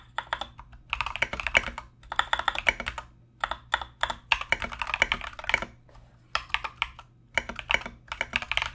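Both hands type continuously with their fingertips on a compact mechanical keyboard with Mozano EVE switches and plastic Knight King SA keycaps. Bright, short clacks come in quick bursts separated by brief pauses, each keystroke dying away almost instantly over a faint low hum.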